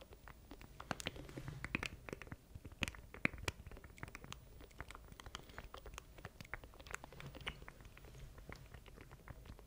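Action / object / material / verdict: tap / plastic control deck with keys / plastic / none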